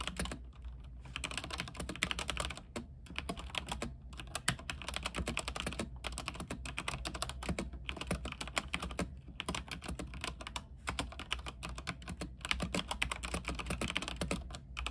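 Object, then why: Mechanical keyboard with plastic keycaps. Fingertips type rapidly on a backlit mechanical keyboard with white plastic keycaps on a silver frame. A dense, continuous stream of sharp, bright clacks is broken by a few brief pauses. Beneath it runs a steady low hum.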